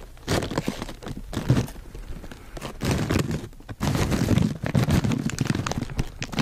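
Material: Plastic film.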